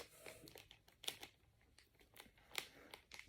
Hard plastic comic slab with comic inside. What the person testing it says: No movement within there.